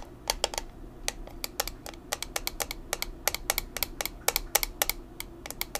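A small square black plastic makeup compact with a clear lid is tapped quickly with long nails, giving about thirty sharp, bright, dry clicks in an irregular rhythm. Each tap dies away almost instantly over a faint low background hum.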